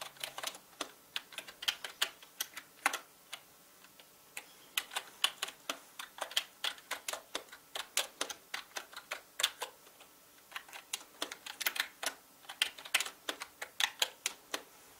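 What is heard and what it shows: Fingertips of both hands type on a full-size black plastic mechanical gaming keyboard with plastic keycaps. About sixty sharp, bright clacks come at an uneven pace, in quick bursts with short pauses. Each click dies away almost instantly, with no low thump.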